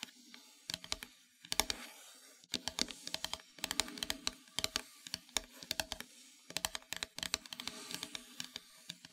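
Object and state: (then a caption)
Painted wooden plaque tapped with fingernails. Long metallic nails tap the surface of a flat, solid, dark painted wooden heart-shaped plaque. The result is quick clusters of sharp, bright clicks with almost no low end, each dying away almost instantly, separated by brief pauses.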